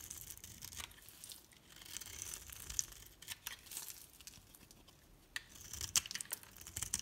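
A solid green bar of soap with a pink rim, held in the palm, has layered flakes shaved from its top by a metal blade, which then scrapes them away. The sound is quiet, crisp scraping and crackling, mostly high and bright, with short, sharp ticks scattered throughout.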